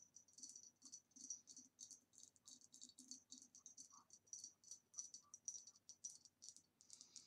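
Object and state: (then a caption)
Ribbed glass vase tapped with fingernails. Long nails tap rapidly and lightly on the base and sides of a hollow, ribbed green glass vase standing upside down. The taps come as a quiet, continuous stream of bright, crisp clicks with a faint high glassy ping and almost no ring after each touch.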